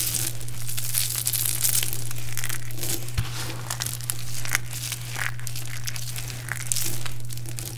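One hand holds a handful of small, brittle, multicolored dried soap chips from a heap while the fingertips of the other hand crush pieces, then the fingers press and scratch into the pile. Dense, bright crunching and crinkling crackles continue throughout over a steady low hum.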